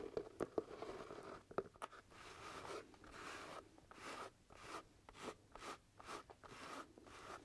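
Fingertips tap and scratch the side of the crown of a hollow, empty black leather top hat. A few sharp, quiet taps open the clip, followed by a steady rhythm of soft, bright scratching swishes against the leather.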